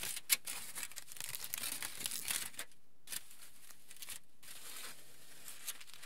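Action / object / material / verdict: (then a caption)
scrape / aluminium foil sheet / aluminium / none. A crinkled sheet of aluminium foil lies flat while fingertips rub and scratch across it, making quiet, dense crinkling and crackling with bright, sharp ticks. The crinkling comes in busy bursts with a few brief pauses and a couple of louder snaps.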